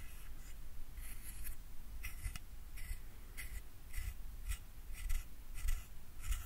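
A fingernail runs across and plucks the teeth of a solid translucent plastic hair comb held up in one hand, in a scratching, strumming motion. Short, bright, raspy bursts centered around 2 kHz and higher repeat at an uneven pace over a steady low rumble, each stroke dying away almost at once.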